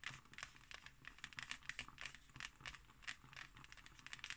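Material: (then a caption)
Cardboard. Fingernails scratch across the textured pattern of a closed, thick hardcover book with an embossed cover. The result is a quiet, dry, crinkly scratching made of rapid, bright little bursts that cut off instantly, over a faint low background.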